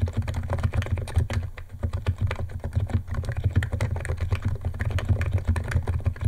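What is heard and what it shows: Fingertips of both hands type fast on a white compact 68-key Niz ATOM 68 keyboard with electro-capacitive switches, white plastic keycaps and a plastic case, resting on a wooden desk. A dense, steady stream of short, dry keystroke clicks with a deep, muted thock sits over a constant low hum, with each press fading almost instantly.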